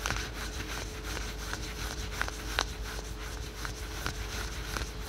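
Fingertips and short nails quickly scratch patterned spandex/polyester yoga pants worn on the thigh. The result is a fast, soft, papery scratching with brief bright rasps over a steady low hum.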